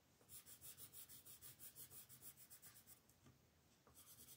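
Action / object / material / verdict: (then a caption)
scrape / colored pencil on a paper coloring book page / paper / none. A green colored pencil rubs in quick back-and-forth shading strokes over the grass area of a paper coloring book page lying flat. The strokes make a bright, papery scratching that pulses about three times a second, pauses briefly, then resumes.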